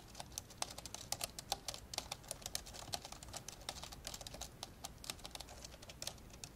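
Fingertips type fast with both hands on the plastic keys of an old dark grey plastic laptop lying open. The result is a quick, uneven stream of short, bright clicking taps with very little ring, over a faint low hum.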